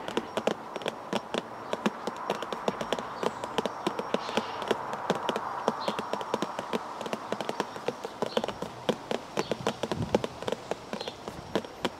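Fingers tap continuously on a cardboard tea bag box, making quick, light, dry clicks that fall in irregular clusters over a soft, steady hiss. Each tap is short and dies away almost at once, with a papery, mid-toned body and little low end.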